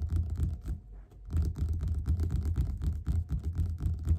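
Fingerpads of both hands tap quickly on the glossy printed cover of a closed, solid yellow paperback book lying flat on a table. The taps are soft, dull, low thumps with very little ring, coming in a fast, uneven patter. They pause briefly around the one-second mark before resuming.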